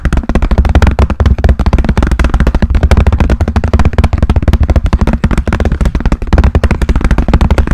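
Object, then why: Hard plastic pencil case with pens inside. A pink translucent hard plastic pencil case with pens inside, held flat in front of a microphone, is tapped rapidly with fingernails. The result is a fast, steady stream of short, dry taps with a deep, hollow, thumpy body and almost no high-end click. The taps continue evenly for the whole clip.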